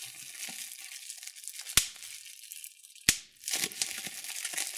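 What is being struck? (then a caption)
Plastic bubble wrap sheet. Thumbs and fingertips squeeze a clear plastic bubble wrap sheet, giving a steady, bright crinkling rustle. Two sharp, loud pops stand out as air bubbles burst, each dying away almost instantly before the crackly handling resumes.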